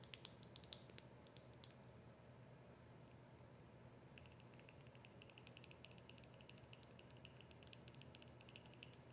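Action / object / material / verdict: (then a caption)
tap / small plastic squeeze tube / plastic / none. Long acrylic nails tap and scratch a small, hollow white plastic cream squeeze tube with a rolled end. Quiet, rapid, bright clicks and ticks sit over a steady low hum; they thin out for about two seconds midway, then return more densely until the end.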